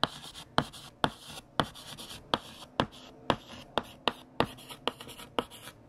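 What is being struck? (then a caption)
Chalk stick on a slate-type chalkboard. A stick of green chalk held in the hand writes "Fact #30: There are more than..." on a large, flat, solid black chalkboard, with no eraser used. About 14 sharp, dry chalk taps cut through soft, gritty scratching strokes. Each tap dies almost instantly and carries a bright, papery edge.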